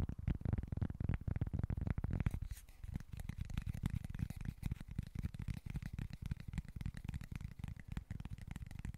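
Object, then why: Small cork board. Short fingernails scratch a small, flat, solid cork board held at a tilt, making a dense run of quick, irregular scratches with a muffled, low-heavy tone. The first two seconds are louder and fuller before the scratching settles into a steadier, softer texture.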